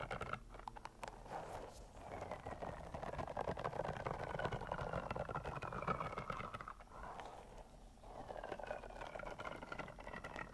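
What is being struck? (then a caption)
Soft rubber spiky toy. A long pink soft rubber (TPR) caterpillar toy, about 40 cm, squishy, covered in spikes and with googly eyes, is scratched and squeezed along its length with long nails while held above the microphone. Dense, rapid scratchy rubbing and squeaky friction fill the clip, with a mid-range squeak around 1.3 kHz and faint rising-and-falling squeal tones. The sound dips briefly at about 7 seconds before resuming.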